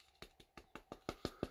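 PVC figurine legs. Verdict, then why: Hollow. Eight short, dry, hollow taps on the lower legs and feet of a Gogeta SSJ Blue Grandista PVC figurine, each a quick mid-pitched knock that dies away almost instantly, with the last three louder and fuller. The knocks don't sound like solid PVC: the legs are two hollow mold halves joined at a seam and empty inside, likely to save material costs.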